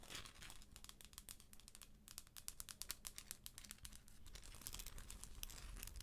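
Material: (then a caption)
Plastic. Long acrylic nails scratch and tap the shell of a hollow plastic galaxy moon lamp, which is held and then brought close to the camera. The quiet sound is a steady, crinkly scratching mixed with quick, bright, dry clicks that stop almost instantly, with a low, soft rumble underneath.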